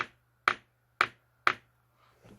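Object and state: Fresh alkaline battery (dull drop, no bounce).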